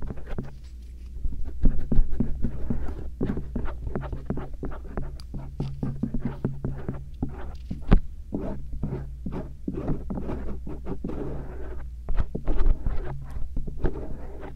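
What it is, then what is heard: Silicone ear microphone scraped with an earpick. A slender stainless steel earpick held in fingertips scratches and scrapes along the soft silicone outer ears of a binaural microphone, moving over both ears. The result is dense, irregular rustling scratches and short scrapes with a few louder strokes, all over a steady low hum.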